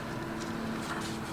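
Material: Nothing is struck.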